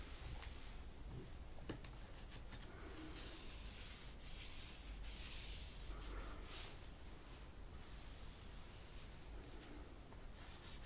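A wipe held under long-nailed fingertips is rubbed across the black plastic keys of an open laptop keyboard to clean it. The result is a quiet, steady, continuous soft swishing and scratchy rubbing with bright hiss and faint tapping ticks from the keys.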